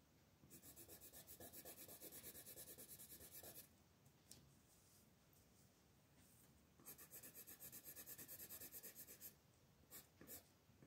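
A light blue wooden colored pencil rubs and scratches across a flat, thin paper mandala coloring sheet on a table, held down by one hand, while shading the outer ring. Two long runs of fast back-and-forth strokes make a bright, papery rasp, with a quieter pause between them and a couple of short final strokes at the end.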